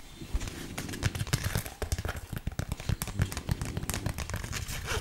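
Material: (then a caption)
Plastic. A flat, colourful, flexible plastic snake dog toy is held in both hands and scratched along its surface with long nails. A quick run of dry, crinkly scratches and taps comes through, with short bright transients over a low thump.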